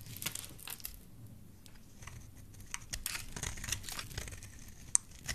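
A solid oval yellow soap bar held in the hand is shaved into thin strands with a dark utility knife blade. Quiet, bright scraping and cutting strokes crinkle and tear through the soap, with a few sharper clicks standing out.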